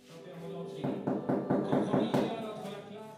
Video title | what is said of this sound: Film "Le Cycle de la Terre, le vélo qui sème son chemin" | ce petit tapotement creux qui à l'oreille du boulanger c'est dire si le pain est prêt